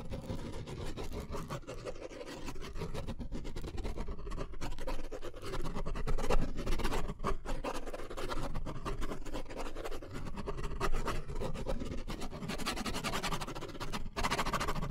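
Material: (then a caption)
Paper. A pen tip scratches and scribbles rapidly across the surface of a white paper sketch pad held up in the hand. The result is a continuous, dense stream of rough scratching strokes over a heavy low rumble, lasting the full fifteen seconds with only brief dips.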